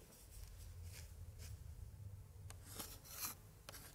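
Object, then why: Paper scrapbook page. A gloved hand drags a thin pointer stick across an open 1880s paper scrapbook page with pasted printed paper pictures, held upright, scratching and tracing over the paper. Soft, dry rubbing and rasping sits over a low, steady rumble, and a few brighter, sharper scratches stand out near the end.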